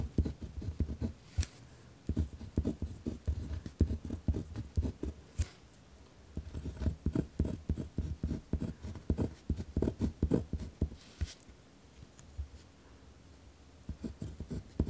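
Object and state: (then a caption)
Pen writing on paper. A ballpoint pen tip scratches across a thin paper notebook page lying flat on a wooden desk, producing dense bursts of low, scratchy strokes in quick clusters separated by brief pauses. The writing is rough and hard-pressed, with short dry strokes that stop almost instantly.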